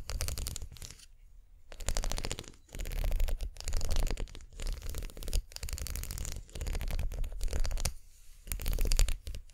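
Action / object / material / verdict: scrape / twisted plastic brush handle / plastic / none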